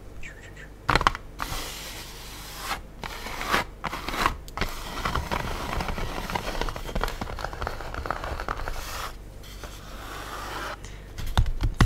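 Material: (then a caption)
Styrofoam. An empty black styrofoam food tray, light and hollow, lies upside down on a table and is tapped and scratched on its top and edge with long blue acrylic nails. Sharp clicking taps break up longer stretches of dry, crackly scraping with a brittle, hollow ring.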